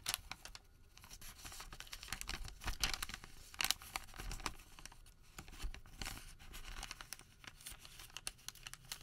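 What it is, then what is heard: Thermal paper receipt being crumpled. A white thermal paper receipt of thin paper is folded flat on a table, then gathered and crumpled with the fingertips of both hands. Dense, bright crinkling and crackling fills the clip, with sharp paper snaps that sound almost like tearing and soft patter in between, all at a fairly quiet level.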